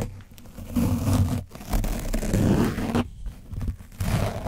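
A foam sponge brush on a wooden handle rapidly brushes and scratches an orange foam microphone windscreen coated in dried paint. The result is a dense, low-heavy rasping and scraping that swells and fades in bursts, with brief gaps near 1.5 and 3 seconds.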